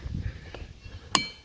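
A hammer strikes a boulder once, giving a short sharp clink with a brief high ring that dies away quickly over low background rumble. The boulder rings very little and is judged a dull, non-ringing rock.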